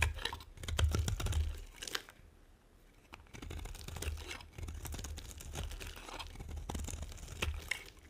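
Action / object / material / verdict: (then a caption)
scrape / bar of soap carved with a metal blade / soap / none. A metal blade carves and scrapes crisp shavings from the edge of a solid, dry brown-and-white striped bar of soap. Dense, dry crackling and crunchy scraping sit over a low rumble, with bright flecks on each stroke. The sound eases into a brief quieter lull near the two-second mark before the steady carving resumes.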